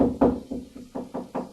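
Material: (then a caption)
Drywall. A series of knuckle taps on drywall over wood studs sounds as short, dull knocks with a mid pitch near 250 Hz and very little ring. The taps move across hollow spots and reach another stud.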